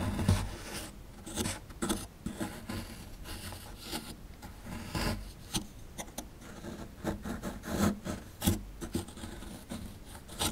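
A chisel tool scratches and digs into a small, solid plaster fossil dig block held in the fingers, breaking up the crumbly plaster. A steady, dry, gritty rasping carries through, broken by sharper scraping bursts and small crumbling clicks, all quiet and close.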